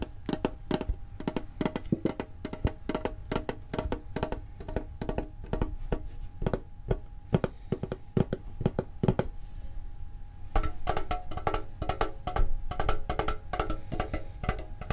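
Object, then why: Small metal tin with lid. Fingertips tap quickly on the lid of a small, hollow, green and blue printed metal Pokemon card tin. The result is a steady stream of short, dry, woodblock-like clicks with little ring and a faint constant tone underneath. After about ten seconds the taps turn denser and brighter, with more metallic overtones.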